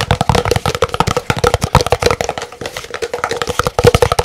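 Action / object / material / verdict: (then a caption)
tap / large paper cup / paper / none. An empty, hollow, large white printed paper cup is held in both hands and rapidly tapped with fingernails, giving about 25 fast, crisp clicks. Each tap carries a short hollow resonance around 480 Hz that dies away almost at once.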